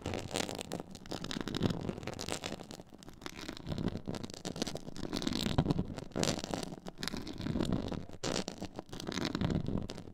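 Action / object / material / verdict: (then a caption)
scrape / textured faux leather board / faux leather / none. Long nail tips scratch small areas of a black, stitched, pyramid-textured faux leather board up close. The sound is a steady run of dry, scratchy rasps in uneven bursts, with a soft low rumble underneath and brighter crackly edges on the strokes.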